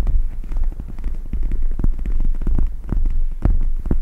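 Long red nails tap and scratch the gel-filled plastic surface of a pink cat-shaped eye mask with gel-bead inserts and a fabric strap, draped over the microphone. The result is a steady run of deep, muffled thumps and rubbing with almost no high end, blending into a low, throbbing hum.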